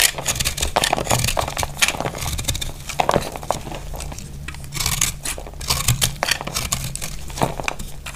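A utility blade cuts and scrapes crumbly chunks off a solid, hand-sized dry pink soap bar. The result is a steady run of dry, crackly crunches and bright, gritty scrapes, with short sharp bursts that stop dead. A faint low hum runs underneath throughout.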